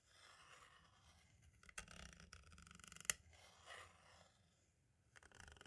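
A green-and-black striped tool taps along the edge of a hollow plastic compact cassette shell, then traces over its label. Three sharp, bright clicks stand out from a quiet, high scratching and rustling, and each tap dies away almost instantly.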